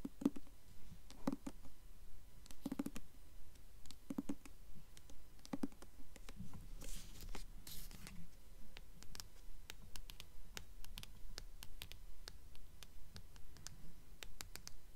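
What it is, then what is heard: Hardcover book tapped and scratched with nails. Long nails tap and scratch the embossed coin on the paper dust jacket of a blue hardcover book, tilted toward the end of the stretch. Soft, dull taps fall in a steady, even rhythm, with a brief stretch of brighter, hissing scratches in the middle. The sound is quiet and close, with no ring after each tap.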